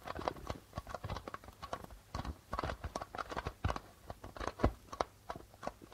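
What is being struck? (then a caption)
Darbuka drum with plastic head. Flat fingers tap rapidly and irregularly on the plastic head of a hollow darbuka drum. The result is a dense run of short, dry taps with low thumps underneath, each dying away almost at once.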